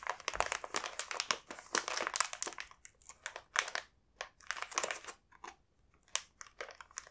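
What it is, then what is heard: Crinkling foil-lined plastic biscuit packet. A large, full, sealed multipack of coconut sable biscuits in a glossy foil-lined plastic wrapper is held in both hands and handled, then a fingertip points to and rubs its surface. The wrapper gives bright, dense crinkling in rapid bursts, with brief quiet gaps, short sharp crackles and no low-end weight.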